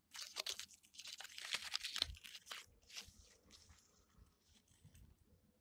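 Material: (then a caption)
Bark. Fingernails scratch and pick at loose, papery strips of peeling bark on a solid birch trunk, and fingertips rub them. The result is dry, bright crackling and crinkling in quick, irregular bursts, loudest in the first half-second to two and a half seconds, then fading to softer rustles.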